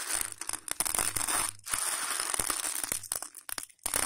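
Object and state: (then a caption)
Raw dry macaroni pasta. Fingers scoop, rub and crunch handfuls of dry, hollow elbow macaroni spread on a patterned plate. The result is a dense, bright rattling crunch with rapid clicks and rustles, broken by a few short near-silent pauses.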